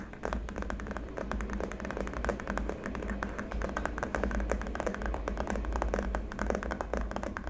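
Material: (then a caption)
Plastic. Fingertips and short nails of both hands tap rapidly on a long, flat white plastic keyboard wrist rest lying on a dark mat. The result is a dense stream of short, dry clicks that overlap one another over a steady low hum.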